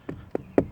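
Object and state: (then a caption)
Damped plastic door panel sounding solid. Three taps on the plastic door panel of a Scion tC, backed with Dynamat Xtreme sound-deadening mat, each giving a short, dull knock centered in the low mids that dies out almost instantly. The panel sounds solid and damped, and its vibration issues are fixed.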